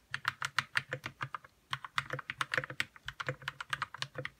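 Fingertips type on a white RK61 60% mechanical keyboard with plastic keycaps, lubed red switches and a hollow plastic case. About 27 short, dry keystrokes clack in a steady run, with a brief pause near the middle. Each press is a crisp, mid-to-bright click over a soft low thump, with almost no ring.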